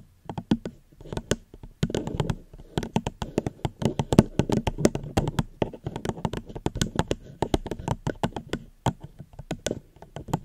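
Gentle fingertip tapping on a plastic cup held close to the microphone, a fast, irregular run of short, dry taps with no ring. Each tap carries a low-mid body around 200 Hz and a faint bright click on top, softer patters filling the gaps between the sharper hits.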